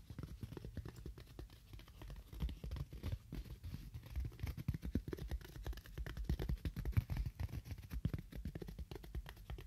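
A block of styrofoam is tapped with fingernails at a moderate to fast pace. The result is a dense, continuous stream of soft, dull, low taps that stop instantly with no ring, set against a quiet hiss.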